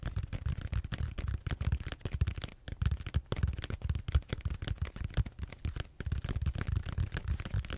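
Fingertips and short nails scratch and squeeze the textured surface of a large, solid purple foam back roller held horizontally. The result is a dense stream of quick, dry scratching and rubbing bursts with brief pauses, heavy in low rumble and with very little high end.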